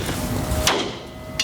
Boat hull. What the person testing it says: elle a l'air affaiblie ici. Ouais, ça sonne plus mat. Différemment.